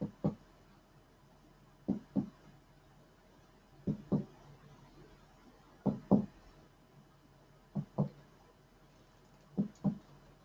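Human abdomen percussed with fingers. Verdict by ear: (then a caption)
Tympanic. A finger placed on a human abdomen is tapped in percussion, giving six quick double taps at a steady pace. Each tap is a short, hollow, low thump around 200 Hz that dies away almost at once, with quiet between the pairs. The note is tympanic rather than dull, a normal result showing no sign of excess fluid.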